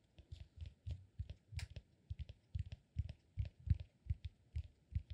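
A palm-sized, peanut-shaped solid cork massage ball, held in one hand, is tapped and scratched with fingertips and nails. The result is a steady, slightly uneven run of quick, soft, dull low thuds, each stopping almost at once, with faint dry scratchy clicks on top.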